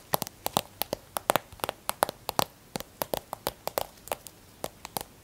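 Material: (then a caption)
Plastic. Long red nails tap quickly on the surface of a filled white plastic squeeze tube of hand and nail cream held in the hand. About 26 short, dry, clicky taps come in an uneven rhythm, each with a hollow midrange knock near 600 Hz and a bright high tick that stops almost instantly with no ring.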